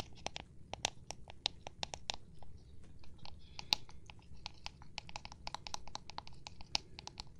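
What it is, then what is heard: Plastic object being tapped. Fingertips or nails tap on an unspecified plastic object in a rapid, uneven series of short, dry clicks. Each tap is bright and crisp and dies away almost instantly, over a soft, steady low rumble.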